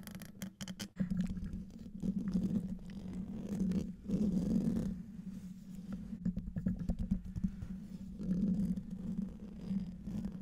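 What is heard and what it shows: Fingertips and nails scratch the hollow domed metal mesh grille of a large silver condenser microphone. The result is a close, continuous rasping scratch with a strong low resonant drone, swelling in louder passages and broken by quick crackling ticks.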